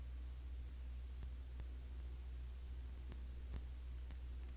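Light fingertip taps on the glass body of a cologne bottle, a Classic Match clone of YSL Y. Sparse, irregular, bright clicking ticks sound faintly over a steady low hum.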